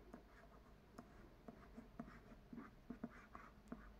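Soft, dry scratches and light ticks of a pen tip dragged across a card book cover, quiet and dead.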